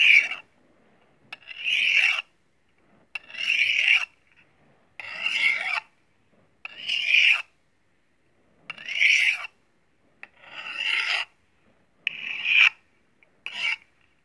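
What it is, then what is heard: Steel knife drawn across a honing steel. A thin, solid steel kitchen knife blade is drawn back and forth across a steel honing rod held in the other hand, in a metal-on-metal scraping and sharpening action. Nine separate bright, rasping strokes sound at a slow, uneven pace, each ending in a brief metallic ring, with short silent gaps and small clicks between them.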